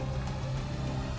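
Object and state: Nothing is struck.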